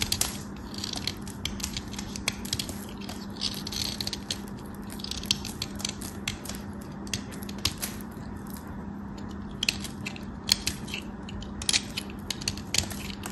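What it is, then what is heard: Bar soap being carved. A small piece of solid white bar soap, held between fingers, is carved and scraped with a metal craft knife blade, scattering soap dust and flakes onto the hands and table. Dense, crisp scraping and crackling fills the clip, with bright, sharp snaps as flakes break away over a faint steady low hum.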